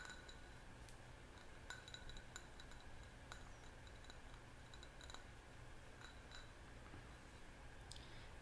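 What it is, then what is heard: Glass jar candle. A small round red glass jar candle filled with wax is held in both hands and turned while fingertips and nails tap and clink lightly on the glass. The scattered, bright clinks sit over a steady low hum.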